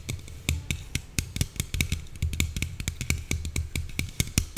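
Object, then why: Aluminium soda can. Long nails tap rapidly on the side and top of a slim red Coca-Cola aluminium can held upright. Each tap is a short, dry click with a low thump and a bright tick, dying away almost instantly with no ring, in a quick, steady, uneven stream.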